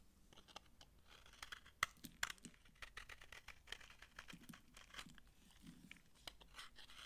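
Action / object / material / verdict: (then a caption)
scrape / bar soap scraped with a knife and crushed by hand / soap / none. A solid, dry, old green bar of soap held in the hand is scraped with a knife while fingers crush its crunchy shavings. The result is a quiet stream of dry, bright, crackly scratches and crunches, with a couple of sharper, louder snaps near the two-second mark.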